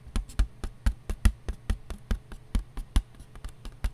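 Fingertips and nails tap on a large, thin, empty white disposable paper plate with a fluted rim, held in both hands. About 19 short, dry, muffled taps land in an uneven rhythm, each a low thud that dies away almost at once. A faint low hum sits beneath them.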